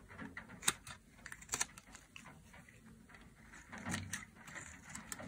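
A dry, solid pale green soap bar held in hand is carved into thick flakes with a metal blade. Short, crisp scraping and cutting strokes sound bright and papery, with occasional sharper clicks. Quieter crumbly textures fill the gaps between strokes.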